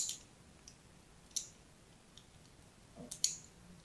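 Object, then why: Bar of soap. A fine blade scratches a crosshatch pattern into the surface of a hand-sized, solid pink-and-white striped soap bar held in the hand. Four quiet, sharp, bright scratching clicks stand out from a soft hiss, each fading almost at once.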